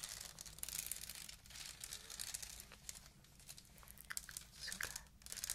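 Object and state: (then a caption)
Clear plastic beaded bag. Long acrylic nails scratch and rub across a small, hollow handbag woven from clear faceted plastic beads. The result is a quiet, bright, crinkly rasp of dense little clicks and rustles that swells and fades in waves over a faint steady low hum.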